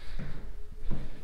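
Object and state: Nothing is struck.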